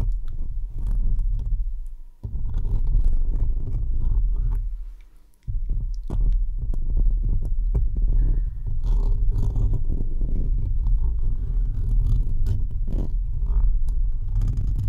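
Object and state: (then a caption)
Metal mesh microphone grille scratched. Fingertips and short nails scratch and rub directly across the uncovered, hollow perforated metal mesh head of a large condenser microphone. The result is a dense, deep rumbling and throbbing scrape centered around 70 Hz, with brief drops in level near 2 and 5.4 seconds before the steady scratching resumes.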